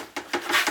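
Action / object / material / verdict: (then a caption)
tap / window shade against a window frame / unknown / loose. An installed day/night window shade, mounted on screwed-in brackets with a locking lever, is tapped against its bus window frame, giving a few quick, bright clacking knocks with short rattles. The shade is loose and bangs and rattles in the frame, a fault meant to be fixed with double-sided velcro or felt pads.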